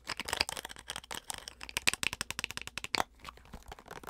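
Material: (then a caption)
Plastic. A small, white, hollow plastic flip-cap bottle with its cap closed is tapped and scratched on its top and sides with long acrylic nails. The result is a fast, irregular stream of sharp, bright clicks and scratchy rasps with almost no low end, each dying away almost instantly.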